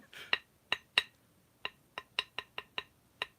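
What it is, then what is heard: Ping test of a thick cast metal piece, little ring. A thick metal cymbal piece is struck ten times in quick, uneven succession for a ping test. Each strike gives a short, bright clink centered around 2.8 kHz that dies away almost at once, so the piece rings only a little.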